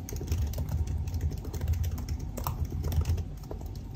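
Fingertips type fast on the black plastic keycaps of a silver aluminum laptop keyboard resting on a desk. A steady stream of short, crisp key taps sits over a dense, heavy low-end rumble. The taps come too closely packed to count apart.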